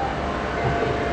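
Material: Nothing is struck.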